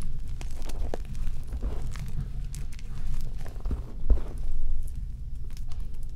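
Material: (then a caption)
Chalk powder. Both hands dig into, squeeze and rub mostly powdered white gym chalk (magnesium carbonate) filling a bowl, working through the last small lumps. The sound is a soft, low, continuous crunching rustle with faint crisp ticks. It swells and fades in loose waves without clear separate hits.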